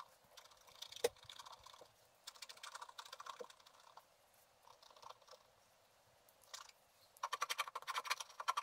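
A wooden stylus scratches a flat sheet of black wax-coated scratch art paper in small strokes, giving bursts of dry, crisp scraping with no low end and a bright edge. The strokes come in short clusters with quiet gaps, grow denser and louder near the end, and stop as the stylus is lifted.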